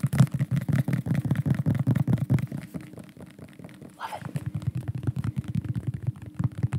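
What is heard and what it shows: A dark, medium-sized bottle with a white cap and white label, probably plastic and likely holding liquid, is held close to the microphone and tapped quickly with fingertips and nails. The taps are rapid, dull and boomy low thumps with very short decay. They fade to a quieter stretch around the middle, where there is a brief higher brushing swish, then resume at full pace.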